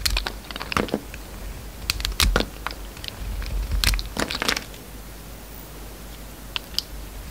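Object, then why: Bar of soap. A utility knife blade shaves curling slices off the peach inner soap of a solid red and peach oval soap bar held in hand. Crisp, bright scraping crackles and crunches come in irregular bursts over a low, steady background rumble. The cuts are loudest in the first four seconds, then the sound settles to quieter background with a couple of faint clicks near the end.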